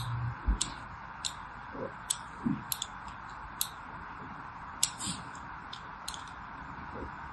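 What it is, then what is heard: Bar soap scraped with a needle. A metal needle scratches grooves into a solid orange and white striped bar of soap held in the hand. It makes a series of short, bright, scratchy clicks and soft scrapes, spaced irregularly over a steady low hiss.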